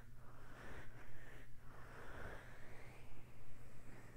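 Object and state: Nothing is struck.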